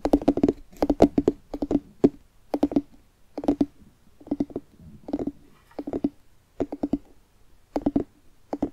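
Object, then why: Carved pumpkin rind. Fingertips and nails tap on the outer rind of a hollow carved jack-o'-lantern pumpkin held in both hands. Quick clusters of short, dull, hollow knocks with a resonant low-mid tone sit in brief rhythmic bursts separated by short pauses. Each tap dies away almost instantly.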